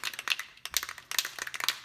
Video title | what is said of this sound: Finishing the neck - XPC Guitar Kit | once you hear the rattle of the ball you just generally shake it up for a minute